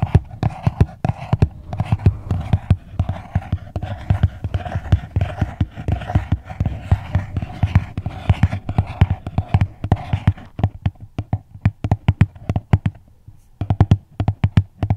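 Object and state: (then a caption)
Cardboard gift box. A small, hollow red floral cardboard gift box, tilted in the hands, is tapped with long nails in a fast, steady stream of short, dull, hollow knocks with a low, boxy body. A soft rustling texture runs beneath the taps for the first ten seconds. The taps then thin out, pause briefly, and resume.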